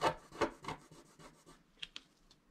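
A wooden stylus scratches across a flat coated scratch-art sheet in a series of dry, rasping strokes that start strong and gradually fade, then pause briefly. A few short, bright scratchy ticks follow.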